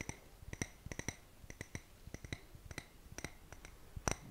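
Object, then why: Wax-filled glass candle jar. A medium clear glass jar candle, filled with solid wax and wearing a label, is held up in one hand and tapped and scratched on its glass sides with fingertips and nails. Short, sharp clicks and taps come in an irregular rhythm, with bright high ringing tones and soft scratching between them.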